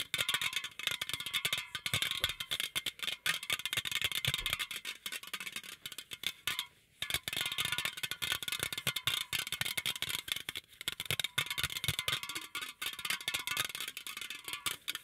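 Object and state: Aluminum drink can tapped and scratched.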